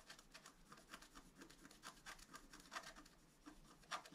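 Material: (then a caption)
Coated paper. A wooden stylus scratches the black coating of a flat scratch-art paper sheet on a table, working near a deer's muzzle while a hand steadies the sheet. Quiet, dry, brushy scrapes repeat in short irregular strokes. Each has a bright papery hiss and fades almost at once.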